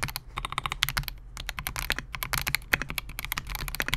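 Both hands type continuously on a compact 68-key Melgeek MOJO68 mechanical keyboard with Gateron G Silver Pro switches, a clear polycarbonate case and SA-profile plastic keycaps, resting on a desk mat. About 28 quick, bright, clacky keystrokes follow one another in a steady, uneven stream, each dying away almost instantly over a faint low hum.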